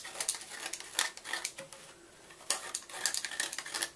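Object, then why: Gym chalk block scraped with a knife. A red-handled knife scratches and scrapes the inner walls of a white gym chalk block as it is hollowed out. The result is a run of dry, bright, crumbly scraping strokes with short, sharp crackles, pausing briefly near the middle before the scraping resumes.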